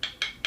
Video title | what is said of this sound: How to make a Bowdrill friction fire set from a single piece of wood (Willow) | the wood becomes much harder, and you can probably hear the difference in sound